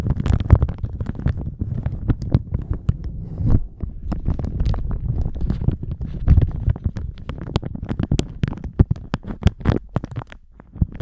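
A thin plastic shower cap stretched over a microphone is crumpled and squeezed with the fingers. It makes a dense, continuous run of crinkles and soft crackles over a muffled, low thumping rumble, with sharp bright snaps scattered throughout.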